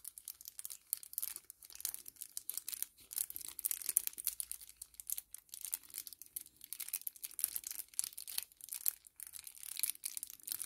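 A small, flat 10 ml kraft paper-plastic laminate sachet is held in both hands and crinkled and flexed with the fingers. It gives a steady stream of soft, dense, bright crackles and crinkles, with a dry, papery quality and almost no low end. There is no ring after each crackle.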